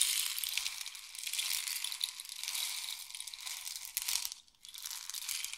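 A long, hollow, painted wooden or bamboo rain stick is held near the ear and tilted, fingertips gripping the tube, as the pellets inside pour through it. A steady, bright, sandy hiss of trickling pellets fills the clip with almost no low end, falls nearly silent for a moment near the end, then resumes.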